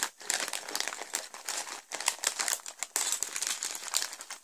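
A clear, thin plastic bag full of purple and grey Lego pieces from set 70906, The Joker Notorious Lowrider, is held, squeezed and pressed flat on a table by hands and fingertips. The result is a continuous, bright crinkling with dense rustling bursts and almost no low end.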